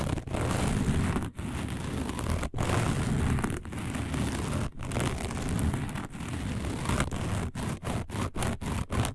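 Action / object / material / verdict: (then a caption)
scrape / coiled woven fiber placemat / woven fiber / none. Long nails on both hands claw and scratch across a round, dark, coiled woven fiber placemat. The result is a dense, continuous rasping scrape, heavy in the low end, broken by brief silent gaps. Toward the end it turns into quicker, rhythmic strokes separated by short pauses.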